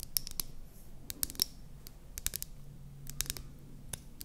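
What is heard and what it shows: A small, light-green hollow plastic mascara tube is held in both hands and tapped and scratched with long painted nails. Sharp, bright clicks and taps sound in irregular bursts over a soft, low scratchy rustle, each tap dying away almost at once.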